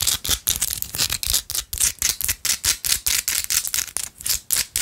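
A small solid pink rock-salt chunk held in the fingers is tapped rapidly with long acrylic nail tips. About two dozen crisp, bright clicking taps follow one another with almost no low end, each dying away almost instantly.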